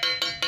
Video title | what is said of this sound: "PART-2" BAGASI HANMADE PROPER KUAT UNTUK TOURING DARI PLAT BESI - VARIO KZR 125 - TIPS MURAH | ini suaranya padat Ya karena memang 0 5 mm besinya